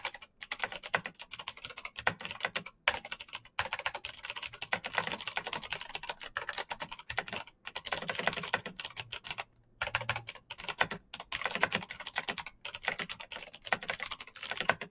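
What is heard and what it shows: Fingertips of both hands type fast on a black plastic full-size Razer BlackWidow mechanical keyboard with green clicky switches and RGB backlight, pressing the keys in rapid succession. Dense bursts of sharp, bright clicks with almost no ring run throughout, broken by brief pauses.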